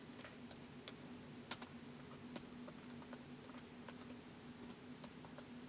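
Fingertips tap the keys of a white polycarbonate laptop keyboard in slow typing. Eleven short, crisp, bright clicks, each dying away almost at once, sit over a quiet, steady low hum.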